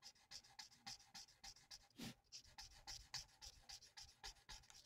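A thin, flat sheet of printed paper on a table is coloured in with the felt nib of a plastic alcohol marker in rapid back-and-forth strokes. Quiet, bright, scratchy rubs repeat at roughly three to four per second, with a louder, fuller swipe around the two-second mark.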